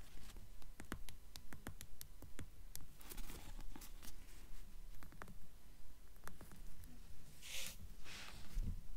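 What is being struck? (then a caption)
Paperback book with paper cover. Long nails tap the front cover of a paperback book with a paper cover held in the hands, then move to its narrow spine. The quiet, soft taps land in a fairly steady rhythm, each with a dull low thump and a short crisp click. A brief brighter brushing sound comes near the end.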